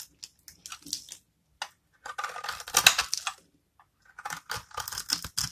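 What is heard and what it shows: A metal knife scrapes and cuts small cubes from a hand-held rectangular bar of dry, solid, amber translucent soap scored into a grid, and the crumbs fall away. Bursts of dry, bright crackling and crisp scraping come in short clusters, with a denser run of crunching in the middle.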